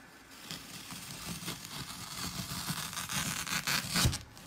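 Fingertips press and poke into a hand-sized, solid, porous square block of dry green floral foam topped with colored glitter stripes, crushing it. A dense, crunchy, scratchy crackle fills the bright upper range over a low rumble, with repeated short crunches. It grows louder toward the end, peaking in one sharp crush just before it drops off.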